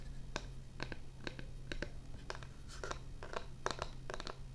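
Long painted fingernails tap and scratch the surface of a thin, solid, flat rectangular board with a wood-grain laminate face and a round cutout near the bottom, possibly a laminate or vinyl flooring sample, held upright in both hands. Quiet, dry clicking taps and brief scratchy bursts die away almost instantly over a steady low hum.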